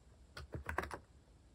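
A compact white-cased Hanmumu mechanical keyboard with plastic cat-themed keycaps is pressed by fingertips in steady typing. Five quick keystrokes give short, dry clacks with a low thocky body and brief upper click, each dying away almost at once against a quiet background.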